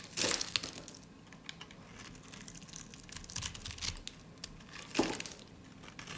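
A utility blade slices a solid white, dry soap bar held in the hand into stacked thin flakes along its edge. The sound is a dry, bright crunching and crinkling with short scraping bursts, loudest near the start and again about five seconds in.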